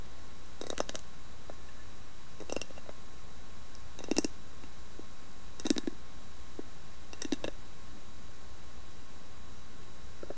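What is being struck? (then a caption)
Carved wooden lidded box. Long nails tap and scratch the carved lid of a round, hollow carved wooden lidded box. Five short clusters of bright, crisp clicking taps with a faint hollow knock arrive at roughly even intervals over a steady low background hum. The taps are quiet and dry, with soft scratching between them.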